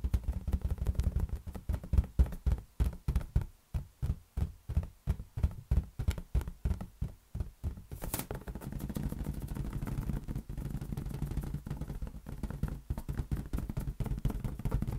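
A large inflated lime-green latex balloon, hollow and air-filled, rests on one hand while the fingertips of the other hand tap it. The taps make deep, hollow, short thumps in a quick rhythmic patter. After a brief bright rustle midway, they blur into denser, continuous low drumming.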